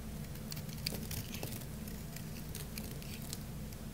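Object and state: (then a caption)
Dry bar soap scraped with a blade. A craft-knife blade scrapes a solid, dry orange bar of soap, shaving off fine curls. Soft, steady scraping and crackling is heard, with quick bright ticks and crunches over a constant low hum.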